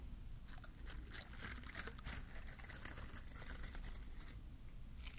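A small glittery green plastic bottle-brush mini Christmas tree is held in one hand while fingertips pinch, scratch and brush its bristles close to the mic. This makes a steady stream of dense, crackly crunching and crinkling, with bright rasping bursts over a low constant rumble.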